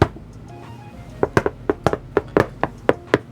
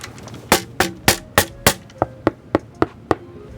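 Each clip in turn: First: About eleven short, dull knocks that die at once, more like wood than metal: a heavily dampened steel panel. Second: Ten quick knuckle knocks on a bare metal case panel, each with a brief tinny ring.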